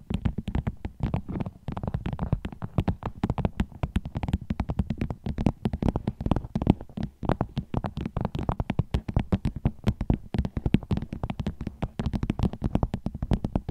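Fingernails tap rapidly and continuously on a vinyl bag as an ASMR trigger. The taps are short, dull and low-pitched, with a soft thudding body and almost no bright edge, and they keep coming in a steady, busy stream throughout.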